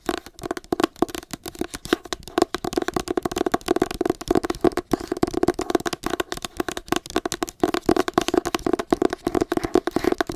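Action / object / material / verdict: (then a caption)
tap / hardcover book with paper cover / cardboard / none. Long acrylic nails scratch and tap rapidly on the matte paper cover of a solid, pale green hardcover book. The result is a dense, continuous run of short, dry clicks and scrapes with almost no ring, centered in a hollow midrange around 350 Hz, with little deep bass or bright treble.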